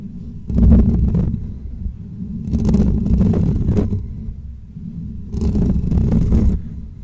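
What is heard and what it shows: Short natural fingernails on both hands scratch over the top and sides of a hollow metal wire mesh microphone grille. The scratching comes in three bursts of heavy, low rumbling scrape with a faint bright edge, separated by quieter stretches of dull low hum.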